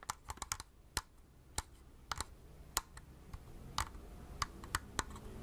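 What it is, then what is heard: Plastic compact film camera. A small, hollow plastic Agfa pocket compact film camera, held in both hands, is tapped with long red-painted nails. The taps come in an irregular run of short, dry clicks, quick and clustered at first, then more spread out. They have a bright, hollow plastic tone centred near 1 kHz and die away almost instantly over a faint background hiss.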